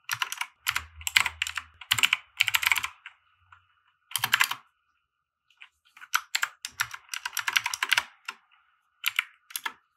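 A compact 60% mechanical keyboard with white plastic keycaps and RGB lighting, resting on a felt desk mat, is typed on with the fingertips of both hands. Quick bursts of bright, crisp plastic clacks come in clusters separated by short pauses, each keystroke ending almost instantly with no ring.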